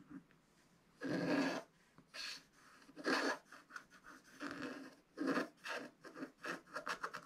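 A wooden stylus scratches the black coating off a scratch-art paper page in a spiral book resting on a table, working around the dragon's wing. Dry, bright scratching strokes come in uneven bursts, a few long drawn-out passes early on giving way to quicker, shorter scrapes toward the end, with brief quiet gaps between them.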